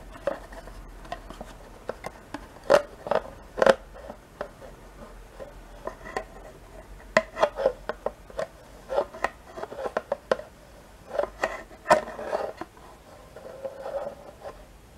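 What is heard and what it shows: A metal spoon with a white handle scrapes and taps inside a small, thin, two-compartment plastic yogurt cup held in the hand, mostly empty with yogurt residue left. The result is a quiet, irregular series of short, sharp clicks and scraping strokes with a hollow, plasticky midrange tone and almost no low end, each tap dying away almost instantly.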